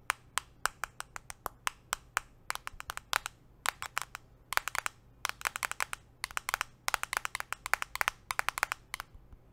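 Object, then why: Smartphone in a plastic case. A handheld smartphone in a solid, translucent purple-tinted plastic case is held in one hand and tapped rapidly with metal nail rings on the fingertips of the other hand. Around fifty short, dry clicks come in quick bursts and runs, each sharp and bright with a hard tick near 1.5 kHz and almost no low end or ring.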